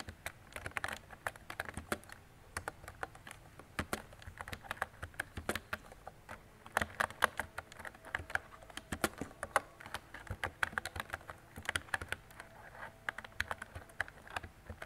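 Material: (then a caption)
Plastic. A mint-green retro mechanical keyboard with round plastic keycaps and a hollow body is typed on steadily with fingertips and long decorated nails. The result is a quick, uneven patter of short, dry plastic clicks and clacks, centered in the midrange with little bass and almost no ring after each keystroke, over a quiet background.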